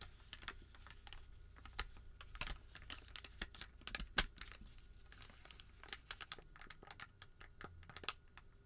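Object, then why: Thermal paper receipt. A crumpled white thermal paper receipt is held in both hands and bent and crinkled with the fingertips. Quick, sharp crinkles and crackles with bright, papery snaps sound over a soft, continuous rub and rustle. The overall level stays quiet and close, with a few louder pops standing out.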